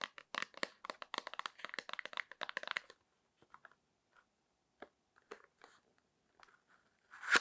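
Long nails tap, scratch and handle a small, hollow, rectangular printed cardboard box of foot cream that holds a cream tube. A quick run of crisp, bright clicking taps fills the first three seconds, then thins to sparse light scratches and rustles. It ends in a louder, brief crinkling scrape.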